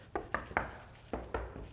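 Five knocks land on a large fake stone platform, a piece of imitation stone stage decor that turns out not to be real stone. Each knock gives a short, hollow midrange tap that dies away almost at once.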